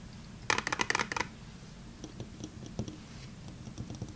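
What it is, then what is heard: Cardboard soap box tapped with fingernails. A small, closed, printed cardboard box of Fa bar soap, apparently holding a bar, is held in both hands and tapped and scratched with long painted nails. A quick burst of sharp, bright, dry clicking taps comes early, followed by quieter, scattered scratches and light taps. Each sound is crisp and dies away instantly.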